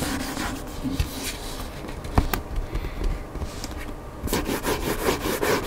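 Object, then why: Hardcover book, cardboard cover. Fingertips and nails scratch and rub the white printed back cover of a hardcover book lying flat, its cardboard surface giving a steady, soft scraping texture over a low rumble. A couple of sharper ticks stand out early on, and the last stretch turns brighter and busier with quick, rasping strokes.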